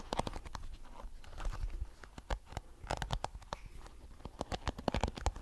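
A small blue plastic hairbrush with flexible, multicolored plastic bristles is held in one hand while the fingertips of the other hand strum and scratch across the bristles. Rapid, dry clicking flicks and scratchy patters come in uneven bursts, each snap short with a bright edge, over a soft low rumble.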